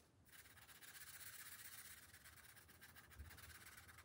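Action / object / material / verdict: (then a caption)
scrape / felt-tip marker on a thin paper page / paper / none. A green felt-tip marker makes short, rubbing strokes across the thin paper page of an open coloring book resting on a glass table. A soft, steady, scratchy hiss runs almost unbroken through the clip, bright and airy, with a brief low bump near the end.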